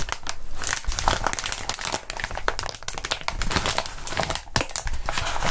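A crumpled ball of clear plastic bubble wrap with air-filled bubbles is squeezed and crinkled by gloved hands with bare fingertips. It makes a steady stream of dense, crackling plastic crinkles with sharp, bright snaps and short, quick-dying ticks over a low rustle.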